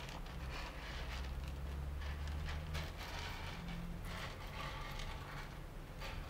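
Flat hands and fingertips rub, sweep and press through loose roasted coffee beans spread in a shallow layer across two sunken panels of a wooden table. A continuous soft rustling and crackling of shifting beans runs throughout over a steady low hum, with brief brighter bursts as the hands push through.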